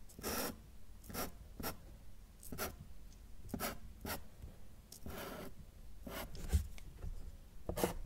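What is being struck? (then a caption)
Felt-tip marker on a paper sheet. A felt-tip marker draws quick radiating lines on a flat sheet of thin white drawing paper held down by fingertips. The tip gives short, dry scratchy strokes that reach into the highs, repeating in an irregular rhythm over a quiet low hum.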